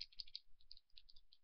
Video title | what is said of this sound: Maybelline New York: Master Duo By Eyestudio Liquid Liner | as you can hear you need to shake it